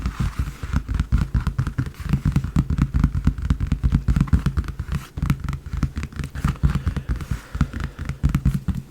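Fast tapping on the front and back of a large, empty leather briefcase. It makes a steady stream of quick, deep, hollow thuds with almost no ring, each tap dying away almost at once.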